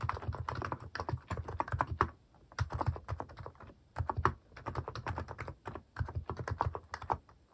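Fingertips type quickly on a cream plastic mechanical keyboard fitted with plastic cat and paw keycaps. Dense bursts of short, clacky keystrokes with a thocky low body are broken by brief pauses around 2 seconds and 4 seconds, and each press dies away almost instantly.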